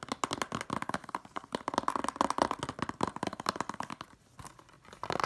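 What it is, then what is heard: Plastic Blu-ray case. A hollow blue plastic Blu-ray case is tapped and scratched quickly with long nails along its ridged plastic spine and edges. The result is a fast stream of short, dry clicks and scrapes centered in the midrange. They ease briefly to soft scratching before the tapping picks up again at the end.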